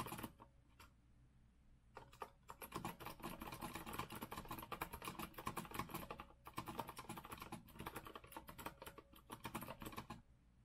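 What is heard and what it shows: Both hands type with their fingertips on a rose-gold retro Azio mechanical keyboard with a metal frame and round plastic keycaps. A few isolated key clacks lead into rapid, steady bursts of crisp, bright clicking, with brief pauses along the way. The typing stops shortly before the end.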